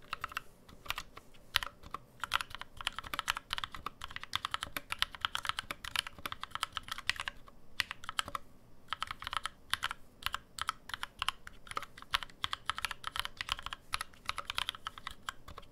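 Both hands type rapidly with their fingertips on a black 65% NovelKeys NK65 mechanical keyboard with an aluminum case, GMK plastic keycaps and lubed NovelKeys Cream switches, resting on a deskmat. A dense, steady stream of short, crisp clacks centered around 3 kHz with bright upper edges, each dying away almost instantly, with little low-end thump.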